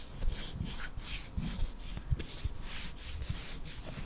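Fingertips and nails rub and scratch a long, flat, solid light-wood ruler, with a few light taps mixed in. A steady dry, bright scraping swishes back and forth, while soft low thumps from the taps stand out briefly.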